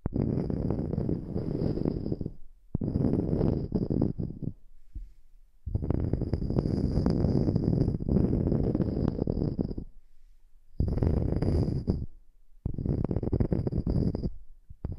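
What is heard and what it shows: Long nails tap and scratch the surface of a round, solid natural wood slice coaster with a bark edge, held above the microphone. Dense, low, muffled scratching and rapid tapping come in long bursts separated by brief quiet gaps, with a faint thin high tone over the loudest stretches.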